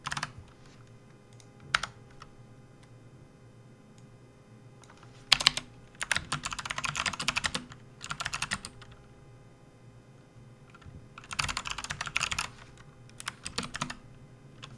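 Fingertips of both hands type and press keys on a full-size plastic backlit RGB Hexgears keyboard with hollow keys, resting on a desk mat. Bursts of fast, bright, clacky keystrokes alternate with quiet pauses and a few single sharp key presses, each click dying away almost instantly.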